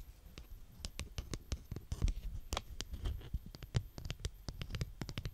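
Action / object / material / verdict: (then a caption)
scrape / kinetic sand scraped with a plastic scraper / sand / none. A green plastic scraper, held by hands with long nails, is pushed and dragged through a mound of brown kinetic sand. The sand gives a soft, low, muffled rumble, broken by many quick, sharp crunching ticks that flash bright and die away almost at once.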